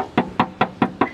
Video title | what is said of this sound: 2023 Kia Seltos HTE Base Model Modification With Individual Prices 🔥 Seltos Base To Top | यहां से आपको एक टन टन की आवाज आ रही है जबकि यहां से आपको एक ठोस साउंड जो है वो मिलने वाला है